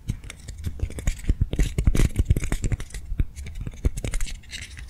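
A hand-sized soft foam swirl lollipop toy, held in both hands, is tapped and scratched quickly with long nails. The result is a dense run of short, dull, low thumps with almost no ring, mixed with faint bright scratching.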